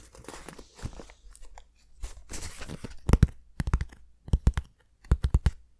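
A small, sealed, hollow brown cardboard shipping box, with its contents not visible, is held up near the face in both hands while fingertips and nails tap and scratch its sides. Soft, dry scratching and rustling over the first three seconds gives way to a run of sharp, quick taps with a dull, low hollow thump and no ring.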